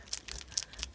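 A liquid-ink acrylic paint marker is shaken, giving quick, bright clicking rattles that are mostly high-pitched, with about six distinct clicks in one second. The rattle shows the ink is liquid, unlike stick-type markers, which are not shaken.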